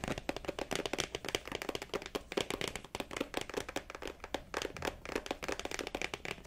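A small, folded black leather wallet, soft and mostly solid and held in one hand, is tapped and scratched slightly aggressively with long dark-painted nails. Quick, dull, clicky taps come in a steady rapid stream, mixed with brief scratchy rasps.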